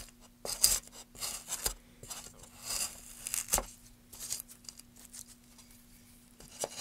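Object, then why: Wooden board worked with a metal gouge. A gloved hand drives a metal carving gouge along the grain of a solid, light wooden board, peeling off shavings. Each stroke makes a short, bright, scratchy tearing hiss that starts and stops quickly, with a faint steady low hum underneath.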